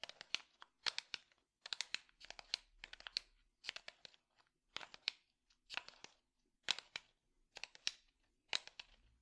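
A small, light-colored hollow wooden box is held in the hand and tapped with the fingertips. Quick, crisp, bright taps come in short rapid bursts separated by brief pauses, each tap dying away almost instantly. The overall level is quiet.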